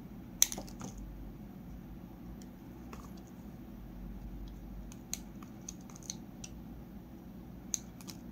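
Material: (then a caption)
Soap. A solid peach Palmolive bar soap is held in the hand while a metal utility blade carves thin curls from its edge in a repeated scraping motion. Short, crisp, bright scrapes and clicks stand out over a low, steady background hum, with the sharpest one near the start.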